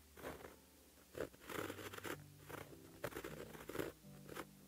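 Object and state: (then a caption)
Pen writing on paper. A white gel pen held in the fingertips writes Korean letters on a flat sheet of black lined paper. The pen tip makes quiet, dry scratching strokes that come in short bursts with brief pauses between them, along with a faint low hum.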